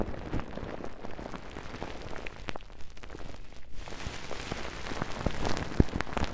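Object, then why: Plastic cling film wrapped over a microphone. Long pink-painted nails and fingertips scratch, rub and crinkle bulky layers of soft, clear plastic cling film wrapped over the microphone head of a Tascam handheld recorder. The result is a dense, low-heavy crackle full of small, sharp pops, easing briefly before turning brighter and busier, with one louder snap near the end.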